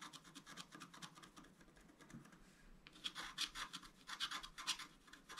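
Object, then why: Coated scratch-art paper scratched with a wooden stylus. A thin wooden stylus scratches across a flat, black-coated scratch-art card held down by one hand, making a run of quick, dry, bright scraping strokes. The strokes are soft and steady at first, then grow louder and harsher after about three seconds, with a hissy edge peaking around 3.4 kHz and almost no low end.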